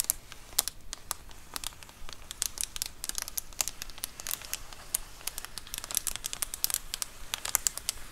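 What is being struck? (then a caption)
Plastic bubble mailer. Long acrylic nails scratch and tap the bubbled surface of a large white plastic Amazon Prime bubble mailer lying flat. The result is a steady stream of sharp, bright clicks and crinkles with almost no ring, over a quiet low hum.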